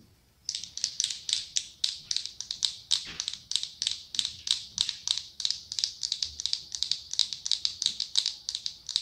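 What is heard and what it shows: Long acrylic nails tap rapidly on the clear glass lid of a medium pumpkin-shaped glass jar filled with orange candle wax. The result is a fast, steady run of dozens of bright, clicky ticks that die away almost instantly, with almost no low end.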